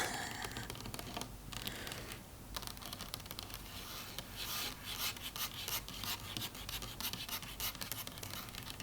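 Tapping, rubbing and scratching on a faux wood table, a steady run of soft, dry scrapes and light taps with bright, hissy high end. The strokes come closely packed and pick up in density and sharpness in the second half.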